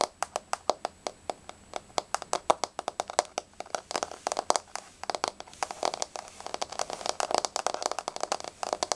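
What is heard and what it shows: Long blue-painted fingernails on both hands tap and lightly scratch a flat, solid wood-grain floor. Dozens of short, dry, bright clicks come at a steady pace at first, then grow denser and faster with soft scratching between them. The clicks have a woody tone around 620 Hz and die away almost instantly.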